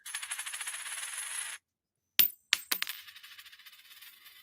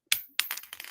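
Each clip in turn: First: silver quarter, rings true. Second: clad copper-nickel dime, dull flat ring.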